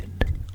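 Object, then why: Wooden keyboard wrist pad. Fingers tap on a wooden keyboard wrist pad, making two short, dull knocks with a soft, low thud and almost no ring. The tapping has a pleasing, soothing sound.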